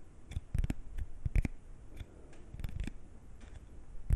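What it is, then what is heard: Paper playing card. A single thin coated-paper playing card, small and flat, is held at chest height and scratched and flexed with fingernails and fingertips. Short, dry clicks and scratchy snaps come in quick irregular bursts over a faint, quiet background, with each sound stopping almost instantly.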